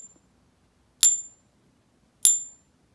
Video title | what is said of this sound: Feeling nerdy? Hole drilled. More questions. Ping Test, Tests to be continued. | it didn't hear any of the key frequencies so it gives it a zero out of five this does not pass the Ping